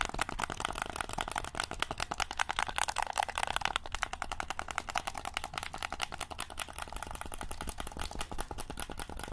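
A black hollow plastic game controller is held up in both hands while thumbs and fingertips click its buttons and triggers. A rapid, steady stream of short, dry plastic clicks with a mid-range clack runs throughout over a faint low hum, each click stopping almost instantly.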